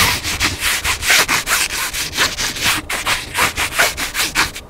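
Fingertips and nails scratch and rub the cover and spine edge of a hardcover cookbook lying flat. About fourteen quick, uneven strokes produce a bright, papery scraping hiss that is mostly high-pitched with little low end. Each stroke fades quickly before the next.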